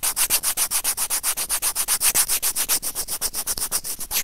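White plastic tweezers with serrated tips, held in the fingers, grip and scrape the hollow housing of a small white plastic Apple earphone inline microphone remote. About 33 quick, evenly paced rubbing and scratching strokes come at roughly four per second, each a short bright, hissy scrape with almost no ring.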